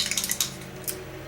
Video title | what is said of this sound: April Favorites! - Hourglass, UD, MAC, NYX & More | it's really light it's liquidy you can hear it when I shake it